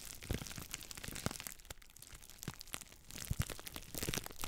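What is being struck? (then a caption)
Plastic bubble wrap sheet. A sheet of clear plastic bubble wrap, held in front of the microphone, is crinkled and squeezed with fingers and long black nails. Dense crackling and crinkling run throughout, broken by sharp pops as bubbles burst, with a quieter stretch in the middle before the squeezing builds again.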